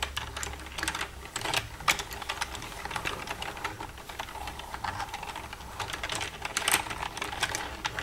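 Long red-painted nails tap and type across the keys of a black plastic desktop computer keyboard with a hollow casing, using both hands. A steady stream of quick, bright plastic clicks and taps comes through, each dying away almost instantly, with a few louder strikes standing out over a faint low hum.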